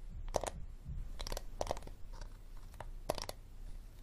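A hard plastic water bottle is tapped slowly with no talking, giving sharp, dry clicks and taps that stop almost instantly. The taps come in small clusters over a low, steady background rumble.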